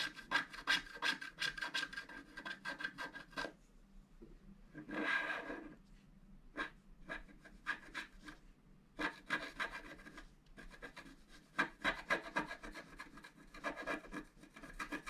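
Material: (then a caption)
Coated card. A wooden stylus scrapes the lower middle of a flat black-coated scratch art paper board in quick rubbing strokes. Dry, raspy scratching comes in irregular bursts with short pauses, including one longer, softer scrape near the middle, and each stroke stops dead with no ring.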